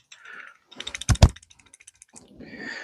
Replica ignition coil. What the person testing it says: slyšíte, jak chrastí. Původní východoněmecká cívka nechrastí, ale tato nějak chrastí